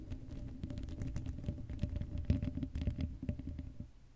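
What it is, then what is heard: Metal mesh microphone grille being scratched. Long acrylic nails scratch the hollow black metal mesh grille of an uncovered Blue Yeti microphone. The result is a dense, low, rumbling scratchy patter with rapid ticking strokes and a faint steady hum underneath.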